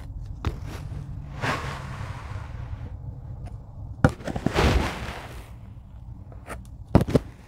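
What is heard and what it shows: A rocker blade with a grey handle presses and cuts into a tray of kinetic sand. Soft, muffled crunching and gritty scraping swells come through over a low background rumble, with a few short sharp clicks as the blade meets the sand. The sound is mostly dull and low, with only faint high grit.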